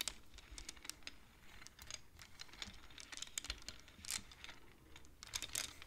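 A wooden abacus with colored wooden beads is tapped and pushed with the fingertips and long nails of both hands. The result is a quiet, rapid, irregular stream of bright, dry clicks and clacks that stop almost instantly, with a few louder clusters near the end.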